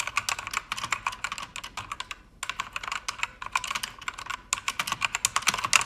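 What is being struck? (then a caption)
Mechanical keyboard with plastic keycaps. Fingertips with long red nails type quickly on a pink-backlit mechanical keyboard with plastic keycaps. A steady run of bright, dry, clicky keystrokes is heard, each dying away almost instantly, with brief pauses near 2.3 and 4.5 seconds before the typing resumes.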